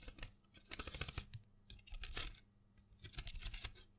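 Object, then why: Cardboard box of colored pencils. A small printed cardboard box full of colored pencils is held in hand and tapped and scratched with long fingernails. Quick clicky taps and dry scratches come in irregular bursts with bright crackle, over a low steady hum.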